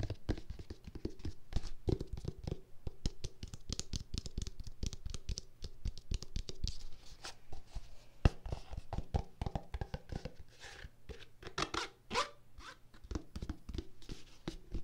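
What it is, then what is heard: Plastic lotion tube tapped and scratched. Long nails scratch and tap a white plastic squeeze tube of lotion with a blue dot logo, hollow and partly filled. The result is a quick, steady run of soft, dry taps and scratchy rubs with dull low thumps and almost no ring after each touch.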